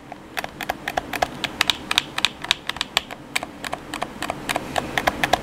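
Fingertips tap and click the buttons of a hollow black plastic PS4 controller, making about 30 quick, sharp clicks in an uneven rhythm over five seconds. Each click is bright and dry with a faint hollow tone near 730 Hz, and it dies away almost at once.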